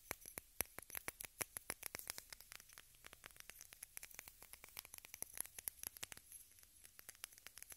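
Long red nails tap a small rectangular pink plastic case held above the recorder. A quick, irregular stream of short, dry, clicky taps with bright, high edges sounds at a soft level, each tap dying away at once with no ring.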